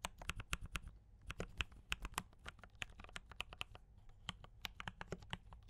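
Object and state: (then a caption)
Mechanical keyboard with plastic keycaps. A compact D84 mechanical keyboard with brown switches and cream and red plastic keycaps is typed on continuously with the fingertips of both hands. About 31 quick keystrokes land as sharp, bright clacks with a soft low thump beneath each, dying away almost instantly, in an uneven, steady rhythm.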